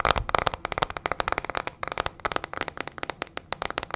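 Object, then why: Plastic hairbrush with metal pin bristles. A small teal plastic hairbrush with metal pin bristles and a hollow plastic body is held in hand and tapped and scratched quickly with long fingernails. It gives a rapid string of sharp, dry clicks and crackly scratches with a hollow plastic tone around 1.2 kHz and bright edges. Each tap dies away almost instantly.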